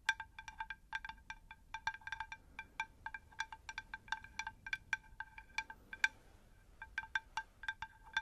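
Long nails tap a round, shallow, unglazed terracotta plant saucer in a rapid, irregular series of light clicks. Each tap gives a brief, bright ring with a steady pitch near 1.6 kHz that dies away almost at once, over a faint low background hiss.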